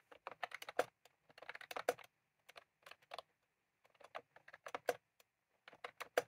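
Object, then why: Plastic keyboard with round keycaps. Fingertips type on a white and cream plastic retro keyboard with round keycaps, with a small clip microphone lying on the keys untouched. Quick, crisp plastic clicks come in uneven bursts separated by short pauses, each click short and dry with a midrange tone.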